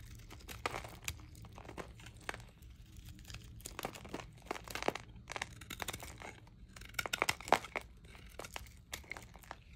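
A metal knife blade scrapes and shaves the surface and corners of a dry, solid, rectangular green Haci Sakir glycerin soap bar, about palm-sized and held in one hand. Dense, crisp crinkling and crunching scrapes come in quick, bright bursts with a louder cluster near the end. Pale curls and flakes come off the bar.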